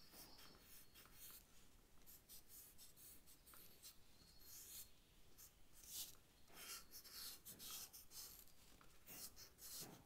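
A charcoal stick is stroked over the paper of a sketch pad while drawing a leaf. Soft, bright, scratchy rasps come in short, uneven strokes over a faint low rumble, staying quiet throughout.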